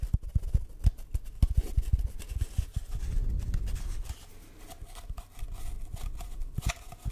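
An empty, hollow brown cardboard tube held over the mic is tapped and scratched with fingertips and short nails. Quick, dry, low thumps come in an irregular patter, broken by a stretch of softer rubbing and scratching. A quieter pause follows before another run of taps.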